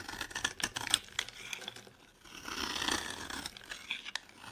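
A metal blade carves and scrapes flakes off a palm-sized, dry, solid yellow-orange bar of soap held in the hand. Bright, crisp scratching and short clicking cuts come first, then a longer continuous scrape, then a few more quick cuts.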